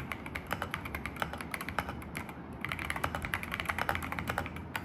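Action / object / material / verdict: tap / mechanical keyboard with plastic keycaps / plastic / none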